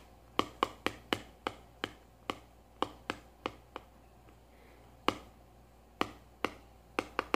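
A small, hollow, cylindrical kraft cardboard tube pencil box with a lid is tapped with long nails and fingertips. Seventeen sharp, dry, bright taps land in an uneven rhythm, each fading almost at once, with a pause of about a second partway through. A faint, steady low hum sits underneath.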